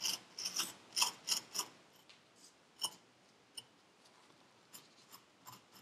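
A metal needle tool scrapes the surface of purple kinetic sand packed into a paper cup. It makes short, bright, gritty scratches in irregular bursts, louder and denser at first, then sparser and softer. Each scrape fades quickly, with almost no low end.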